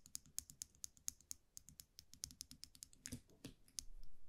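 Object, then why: Wire champagne muselet with metal cap. A small wire champagne muselet with a round metal cap, held in the fingers, is tapped and scratched with long manicured nails. A quick, irregular run of sharp, bright metallic clicks that die away almost instantly, followed near the end by a couple of longer scraping swishes. Everything plays over a quiet low rumble.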